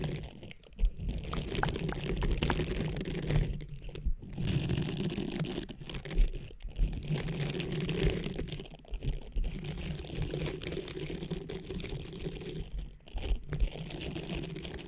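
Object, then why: Textured silicone cleansing pad. Long nails scratch and tap the nubs of a small blue textured silicone cleansing pad draped over the microphone. The result is a dense, muffled, low-heavy rustling and scratching with soft tapping, broken by brief pauses and a few sharper taps.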